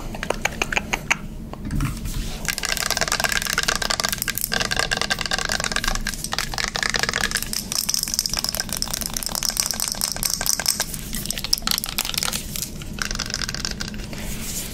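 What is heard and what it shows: A hollow, light blue plastic cosmetic pump bottle with a clear plastic cap is held in the hand and tapped and scratched with long nails. The result is a fast, continuous stream of sharp, bright plastic clicks and scratchy rasps that stop almost instantly, over a faint steady low hum.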